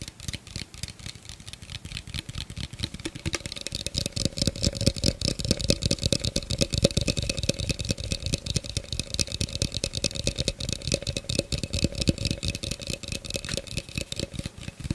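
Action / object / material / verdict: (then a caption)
tap / plastic container / plastic / none. An empty-looking, medium-sized, clear hollow plastic cylindrical container with a ridged rim is held close to the recorder and tapped and scratched with fingertips and short nails. The result is a fast, irregular stream of short, dry clicks and scratchy rasps, with a faint hollow tone near 540 Hz and a bright, hissy top. The sound grows busier and louder after the first few seconds.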